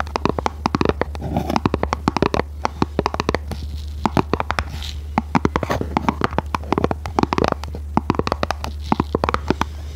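Long red nails tap and scratch a small, hollow, red printed cardboard box held in both hands. The result is a dense run of quick, dry, hollow clicks and scrapes with brief bursts of rapid tapping, over a steady low hum.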